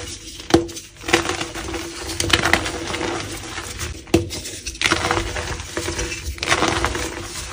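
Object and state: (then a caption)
Gym chalk block crumbled by hand. A solid black-dyed, grey-looking gym chalk block is broken into two halves, and each half is squeezed and crumbled by fingers with dark painted nails. Dry, powdery crunching and bright crackling come in bursts, with a few sharp snaps along the way. A faint steady low hum runs underneath.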